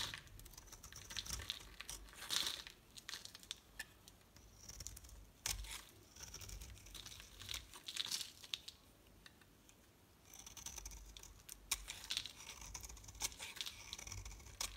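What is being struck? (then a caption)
Bar of soap cut with a knife blade. A utility knife blade cuts layered flakes off a solid pink and white soap bar. The cutting makes crisp, dry crinkling and tearing sounds in quick bursts of bright, scratchy strokes, with short pauses between passes.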